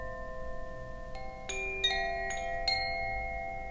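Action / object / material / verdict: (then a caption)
shake / bamboo tube wind chime with metal rods / bamboo, metal / none. A bamboo Koshi wind chime, a hollow bamboo tube with metal rods inside and a wooden clapper, is held by its cord and shaken. The clapper strikes the rods in a loose, irregular series, adding bright, bell-like tones over notes that are already ringing. The tones sustain and overlap into a shimmering, layered wash that keeps ringing to the end of the clip.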